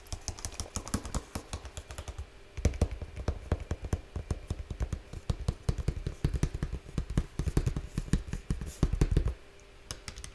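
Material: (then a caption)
Cardboard. Fingertips tap rapidly on the top surface of a large, flat, printed cardboard slime kit box resting on one hand. The taps come in quick, uneven flurries of dull, low thuds with almost no ring, pausing briefly near the two-second mark and settling into quiet after about nine seconds.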